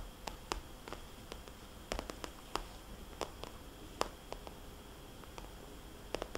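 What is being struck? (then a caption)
Small vinyl cosmetics bag. Fingernails tap and scratch on a small red polka-dot glossy vinyl cosmetics bag, which gives a soft, hollow sound. Quiet, sharp clicks with a bright edge fall at irregular intervals and die away at once. A faint steady hiss and low rumble sit underneath.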